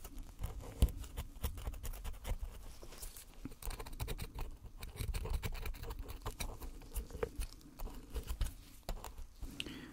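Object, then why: Gold-painted plaster bar. A thin metal pick scrapes and chips into a solid gold-painted plaster bar on a black base set on a towel, breaking off crumbly white plaster. Quiet, rapid scratching is punctuated by many short, sharp clicks and ticks over a soft, low-heavy rumble, with brief bright flecks as pieces crack away.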